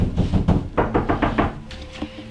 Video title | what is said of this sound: Classic Brick Rambler Part 1 | Should I knock on it? Sounds pretty hollow.